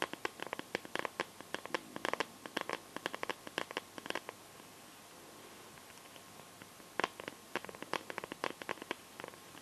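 Fingernails tap and scratch the back of a smartphone in a clear plastic case filled with liquid glitter. Quick, dry, bright clicks come in rapid bursts for about four seconds, pause into near-silence, then resume in another run of sharp taps. Each tap dies almost instantly with no ring.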